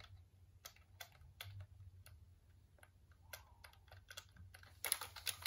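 A black plastic computer keyboard is held in both hands while fingertips press its keys, making quiet, short, bright clicks over a steady low hum. The clicks come in scattered taps and grow louder and denser in a rapid cluster near the end.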